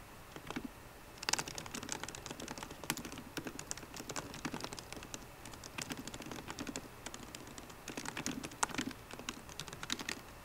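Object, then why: Laptop keyboard, plastic keys on aluminium body. Both hands type fast on a MacBook Pro keyboard, striking its plastic keycaps on the hollow aluminium laptop body with fingertips and long painted nails. The result is a quiet, steady stream of dense, sharp, bright clicks and taps with no ring between them.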